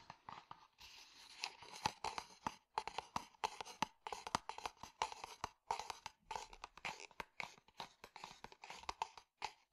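Fingertips and nails tap and scratch a hollow, tan, stitched leather cylindrical cup sleeve. Quick, dry taps with a hollow tone near 930 Hz alternate with bright, papery scratching. The sounds come in quiet, uneven bursts that stop short with no ring.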